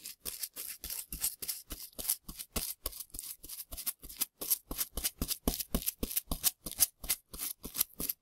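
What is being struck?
Plaster excavation block with plastic ribs.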